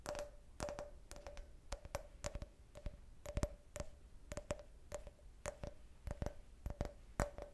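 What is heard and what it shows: Long red-painted nails tap an empty, hollow clear glass cup shaped like a beer can, with a printed logo, held in the hand. Quick clusters of sharp, bright clicks each leave a brief, faint glassy ring around 600 Hz that dies away almost at once. The taps come in steady bursts throughout.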